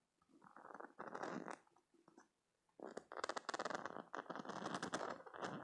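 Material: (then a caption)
Silicone. A green silicone spiky cube stress toy is held in the hand while fingernails scratch and flick its soft spikes and squeeze it. Soft, rubbery scratching and squelching bursts come in uneven clusters, with a brief near-silent pause in the middle. The second half grows louder, with rapid, bright flicking clicks.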